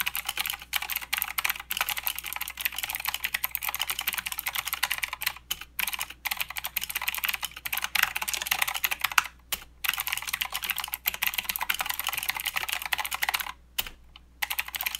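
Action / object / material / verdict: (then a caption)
tap / plastic mechanical keyboard / plastic / none. Fingertips of both hands type steadily on a full-size Redragon K552 mechanical keyboard with blue clicky switches and grey, white and green plastic keycaps. The sound is a rapid, bright stream of sharp, short clacks with little low end. It runs continuously, with brief pauses around 5.5 and 9.5 seconds and a longer gap near 14 seconds.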